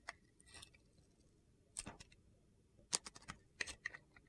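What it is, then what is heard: Soap bar being shaved. A utility knife blade shaves thin orange curls off a solid rectangular bar of soap with gold glitter, held in one hand with long red nails. Short, crisp, bright scraping and crunching sounds come in irregular bursts against a quiet background.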